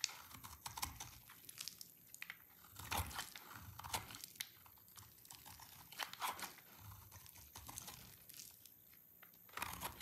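An oval, hand-sized bar of solid yellow dry soap is held in one hand while a utility knife blade shaves and scrapes curls off it. Quiet, dry, bright crunching and scraping strokes come in uneven bursts, with crisp crackly edges and short-lived, non-ringing texture throughout.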